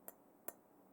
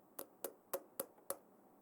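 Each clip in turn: First: metal cup. Second: plastic cup.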